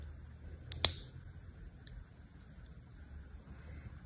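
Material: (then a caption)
Soap. A small metal knife blade scores and scratches a grid into the surface of a solid rectangular green bar soap embossed "PURE," held in one hand. Two sharp, bright clicks sound close together near the start, followed by faint high ticks and scraping over a low background hum.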